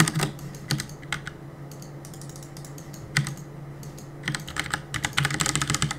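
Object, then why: Plastic mechanical keyboard. Fingertips press and tap the plastic keycaps of a black plastic CM Storm mechanical keyboard on a desk while gaming. Quick, bright clacks come in irregular bursts with quiet gaps, building to a dense flurry of keystrokes near the end. A steady low hum runs underneath.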